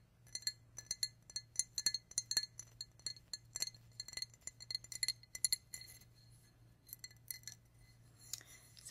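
A Walt Disney World 2000 souvenir glass cup, once a McDonald's cup with a picture of the castle at Magic Kingdom, is tapped in a quick, irregular series. Each tap gives a bright, short glass clink with a high ringing tone, and the taps grow sparser and quieter toward the end.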